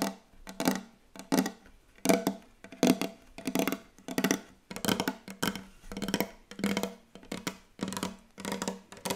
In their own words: ASMR Very Very Fast Wooden Table Tapping